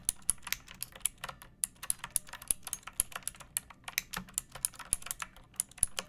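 Long painted nails and fingertips type steadily on a pink plastic mechanical keyboard with round backlit keycaps and a hollow body, resting on a wooden surface. About three dozen quick, dry, bright clacks sound over a faint low thump, each dying away almost instantly with no ring.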